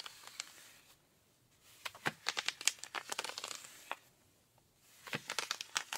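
Rubber-gloved fingers scratch the thigh and knee of ripped denim jeans. Crisp, bright, crinkly scratching comes in three bursts of quick strokes, separated by near-silent pauses.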